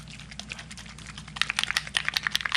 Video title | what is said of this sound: Alcohol Ink Abstract on Photo Paper | a really good shake until you hear the little BB inside start to move